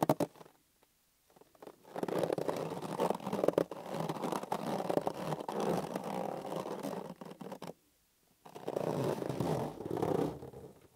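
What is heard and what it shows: Fingers rub and squeeze a green, hollow, inflated latex balloon held in both hands, making squeaky, rumbling rubber friction in long continuous stretches. There is a brief quiet gap near the start and another around the eighth second before the rubbing resumes.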